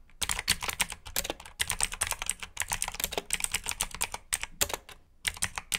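Fingertips type steadily on the plastic keycaps of a black plastic mechanical keyboard with blue switches. It makes a rapid run of sharp, bright clicks with very short decay, separated by a few brief pauses.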